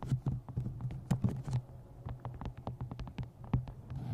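A steady run of rapid, short taps with light scratching in between, dull and dry with no ring at all. The low thud under each hit comes from the thin paperback being pressed close against the pickup, while the nails add a faint papery click.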